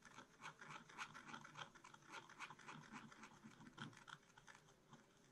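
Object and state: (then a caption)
Scratch-art paper being scratched. A wooden stylus scratches mushroom shapes into the black coating of a scratch-art card bound in a spiral book. Quick, irregular strokes make soft, dry scraping bursts with a bright, papery rasp. There is little low-end body.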